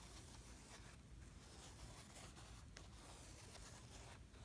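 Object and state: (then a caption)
Kinetic sand brushed in a plastic tray. A flat layer of kinetic sand in a blue plastic tray is brushed and scratched with a black-handled brush. It makes a steady, raspy scratching texture with a strong low rumble underneath. The sound briefly thins out between strokes, near 1, 2.7 and 4.2 seconds.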